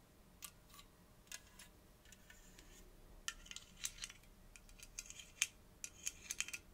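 A gold aluminium Coke can is turned to show its top while long nails tap and scratch along its side, then across the lid and ring pull. Quiet, bright, high-pitched metallic clicks and short scratches sound in irregular bursts, with almost no ring after each tap.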